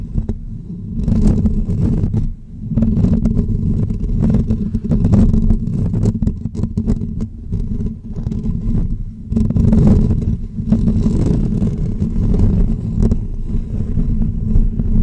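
Short natural fingernails of both hands scratch the hollow woven metal mesh grille on top of a pink condenser microphone. The result is a dense, continuous, low rumbling scrape with a steady hum-like tone. Quick scratchy bursts run through it, with brief dips at around 2, 8 and 9 seconds.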